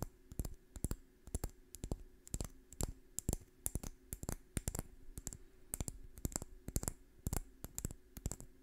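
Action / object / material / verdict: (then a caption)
scrape / pine cone / wood / none. A small, dry brown pine cone with woody scales is scratched with long fingernails close to the microphone. The result is a rapid, irregular series of crisp, dry clicks and scrapes that stop almost instantly, over a faint steady low hum.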